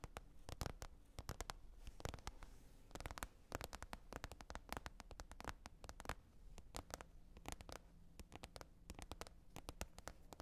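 Long red nails tap and scratch the surface of a large, flat, glossy green plastic container lid lying hollow-side down on fur. The result is a rapid, uneven stream of quiet, dry, clicky taps with very short decay, mixed with light scratching and a dull low thump beneath each hit.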